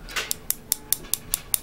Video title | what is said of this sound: Easter nails, Muzzet's mix rules!!! | you hear that Hollow sound if it's Hollow it's dry